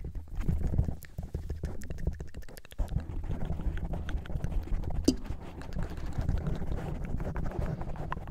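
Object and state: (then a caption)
Foam microphone windscreen scratched. Long painted nails, pink and neon yellow, on both hands scratch and tap a fist-sized black foam windscreen covering a solid microphone body. The result is a steady stream of dense, muffled thumps and rustling scrapes. The sound is deep and boomy, with short, dry taps that stop without ringing.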